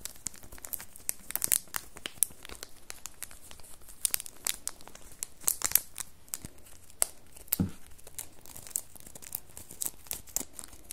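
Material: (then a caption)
Cellophane. A small red cardboard soap box wrapped in cellophane plastic film is turned in the hands while long nails scratch and crinkle the wrapping. A dense stream of quick, bright crackles and scratchy ticks is heard, with sharp snaps standing out from a soft, steady rustle. Each crinkle stops almost at once, with no ring.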